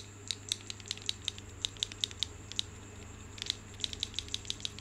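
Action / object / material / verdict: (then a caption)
shake / cluster of carved marble grapes / marble / none. A bunch of solid marble stone grapes is held by the stem and shaken, so the stone grapes clack against one another. The result is a rapid, irregular series of short, bright clicks centered around 3.8 kHz that stop instantly, with a pause midway, over a faint low steady hum.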